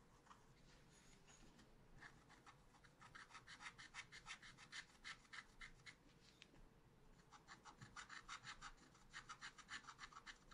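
A wooden stylus held in the right hand scratches monkey figures into a small spiral-bound pad of black scratch-art paper, which the left hand holds down. Quick, bright scratching strokes come in rhythmic bursts of about three per second, with a brief pause in the middle, over a faint low steady background.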